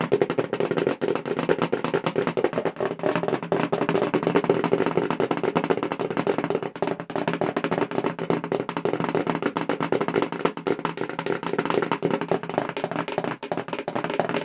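Long pink acrylic nails fast-tap a medium-size, hollow, black printed corrugated cardboard subscription mailer box held in both hands. The result is a steady, dense stream of quick, dry clicks and hollow taps for about 14 seconds, with a boxy mid-range resonance around 390 Hz, little deep bass and almost no high brightness.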